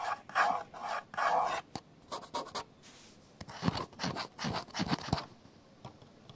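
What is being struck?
Plastic camcorder body.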